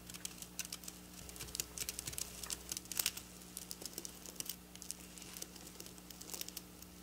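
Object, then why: Sequin fabric scratched with fingernails. Long black nails scratch and tap rapidly across silver sequin fabric up close, making a dense stream of sharp, bright clicks and rustles. A faint steady low hum runs underneath throughout.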